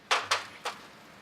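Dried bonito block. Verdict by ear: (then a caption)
Not dry. A block of dried bonito (katsuobushi) that is not yet properly dry is tapped three times. Each tap gives a short, hollow knock centred around 1.1 kHz that dies away quickly, which marks the fillet as not yet fully dried.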